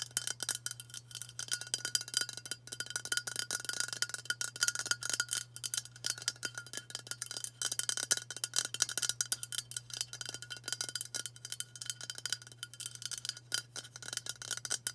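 Long matte burgundy nails tap fast on a hand-sized White Dove aluminium spray deodorant can, a hollow cylinder held upright in both hands. The result is a dense, continuous stream of bright, tinny clicks that die away almost instantly, over a faint steady low hum.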